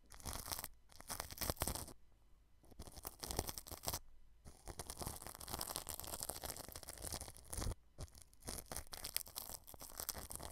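A paintbrush brushes clear cling film wrapped over a white microphone, under the grille. Dense, close crackling and crinkling scratches come in bursts, with bright hiss and a low rumble, separated by a few brief near-silent pauses.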